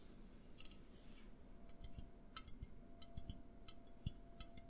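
An A&W aluminum drink can is tapped with the fingertips, first upright and then tilted in the hands. The result is a quiet series of short, dry ticks with bright clicky edges over a low, soft thump. The strokes fall irregularly rather than in a steady rhythm.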